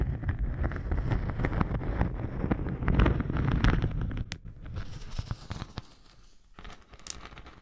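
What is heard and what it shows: A thin, flexible, natural yellow beeswax sheet with a honeycomb texture is held over a dummy head microphone and scratched with the long nails of both hands. Dense, crackly scratching with sharp clicks is heard, heavy and rumbly in the lows. The scratching then thins into sparser scrapes and fades softer toward the end.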